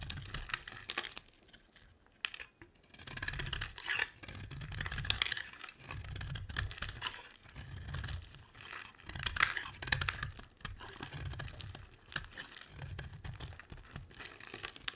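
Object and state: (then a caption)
Bar soap being carved. A solid rectangular white bar of dry soap, held in a hand with long red nails, is scraped and carved with a metal utility blade, its shavings falling onto a white table. Repeated dry, crunchy scraping strokes come in bursts with bright crackling detail and soft low thuds, separated by short quiet pauses.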